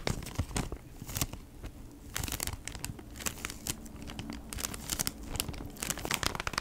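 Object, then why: Cardboard insert in a clear plastic sleeve. Long nails tap and scratch across the crinkly clear plastic sleeve of a flat beeswax wrap retail pack, a cardboard insert inside the sleeve, held upright. Quick, bright ticks and crackling scrapes come in dense, uneven bursts, with a papery crinkle and a soft low rustle underneath.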